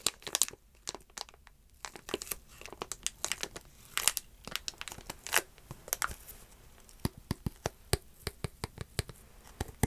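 A single sealed Paradox Rift Pokemon card booster pack, small, flat, filled with cards and made of metallized plastic foil, is held in both hands and crinkled and rubbed with fingertips and long dark-painted nails. Dense, bright crinkles and sharp crackles come in quick irregular bursts with short quiet gaps, heavy in the high frequencies and dying away almost instantly.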